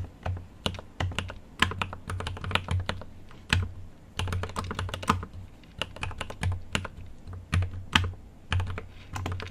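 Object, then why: Mechanical keyboard with plastic keycaps. Fingertips type continuously on a full-size-deck GMMK Pro mechanical keyboard with an aluminium case, milky yellow switches and plastic keycaps. The result is a steady, uneven patter of short, deep clacks with a low thocky body and bright click tops. Each stroke dies away almost at once, and the typing comes in quick bursts separated by brief pauses.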